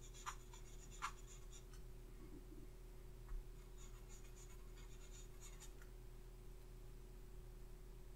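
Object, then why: Paper sheet on a clipboard. A thin makeup pencil or brush strokes and scratches across a thin paper face chart clipped to a clipboard resting on a red surface. Quiet, papery scratches and rubbing strokes come in loose, irregular bursts, with a few sharper ticks, over a steady low hum.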